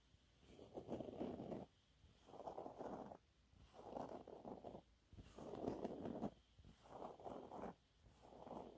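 Fingernails scratch a thin, flat, yellow textured cellulose sponge cloth. Soft, dry scratching comes in repeated bursts, each about a second long with brief quiet pauses between. The rough, papery rasp sits mostly in the low-mid range.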